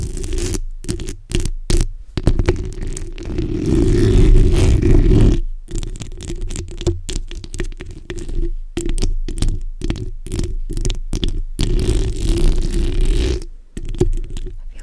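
The backs of long nails on both hands scratch across a black hollow steel mesh microphone grille. The result is a dense, rumbling scrape heavy in the lows, broken into quick bursts by brief silences. It swells loudest around the middle and again near the end.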